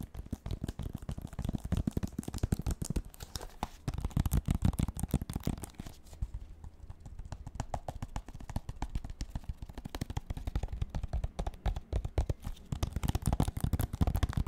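Fingertips and nails rapidly tap and scratch the front and edges of a handheld red Wii game case: a hollow plastic case with a printed paper insert under a clear sleeve. The result is a dense, continuous patter of dull, low, hollow taps with brief scratchy textures, each hit dying away almost instantly. The activity eases into a quieter, sparser stretch midway before building back to the full rapid tapping.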